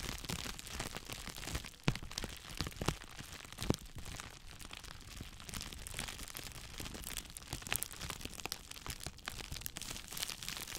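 Two hollow, hand-sized cones of clear plastic bubble wrap are squeezed and crinkled with the fingers close to the microphone. A dense, steady crackle of crinkling and rustling plastic runs throughout, with a few sharper, louder cracks standing out. The sound is full-range, from a low rumble up to bright, crisp highs, and each snap dies away almost instantly.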